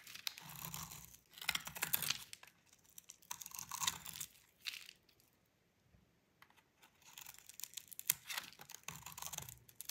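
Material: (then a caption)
Soap. A utility knife blade scrapes thin orange shreds off a solid, dry, orange rectangular bar of soap held in the hand. It makes bright, crisp, crackling scraping in repeated bursts. A quieter pause comes in the middle before the scraping resumes.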